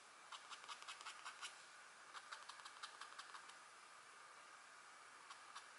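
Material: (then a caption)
Coated board. A stylus in a green holder scratches a deer/elk drawing into a flat, thin scratch art board with a black coating over gold foil, while a hand with long nails holds the board flat. Quick, irregular strokes of dry, bright scratching rise above a steady soft hiss, coming in two busy runs, then a pause before a few final strokes.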